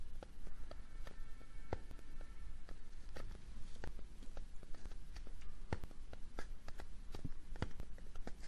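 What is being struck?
Small kraft cardboard box.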